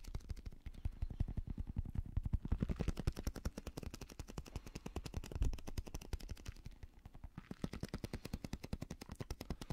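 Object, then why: Rubber stress ball filled with gel beads. A small translucent blue squishy stress ball, a rubber skin filled with gel beads, is held in one hand and tapped quickly with a fingertip and nail. Dozens of rapid, soft, dull low thuds run nearly continuously, each dying almost instantly, with a few louder clusters along the way.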